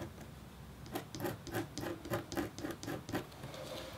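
A metal-tipped, red-handled stylus scratches across a thin, solid, flat black-coated copper foil scratch art board. After a faint start, about eleven short, raspy strokes follow at a quick, uneven pace, each with a bright, hissy edge over a dull low-mid body. A soft scraping continues at the end.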